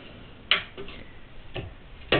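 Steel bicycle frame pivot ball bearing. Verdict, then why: Worn. A worn steel pivot ball bearing on a Giant Glory/Faith bicycle frame is turned by finger and gives three sharp, gritty clicks over a faint rough scraping. The bearing is worn out and needs replacing.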